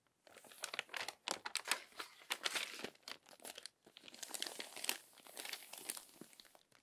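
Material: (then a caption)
Paper. Long nails turn and smooth the crinkled pages of an open glossy paper magazine. The result is a steady run of bright, dry crinkling and crackling with quick rustles, a short pause near the middle, and no low-end thump.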